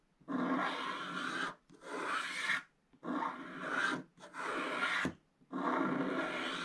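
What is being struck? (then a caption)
Wooden stylus on scratch-art paper. A wooden stylus scratches the remaining black coating near the top edge of a scratch-art card page that is already mostly scratched through to purple, with heavy flake debris around it. Five separate raspy scraping strokes are heard, each a dry, broadband scratch with brief quiet pauses between them, and a short click ends the fourth stroke.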